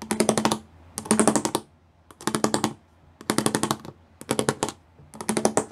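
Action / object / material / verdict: tap / plastic panel with pyramid studs / plastic / none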